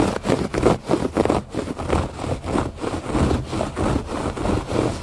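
Fingertips and nails scratch the loops of a thick woven fabric rug lying flat outdoors on a porch. The result is a steady run of dull, rustling scratch strokes at a loose, uneven rhythm, with most energy in the low and middle range and little brightness.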